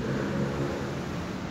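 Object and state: Nothing is struck.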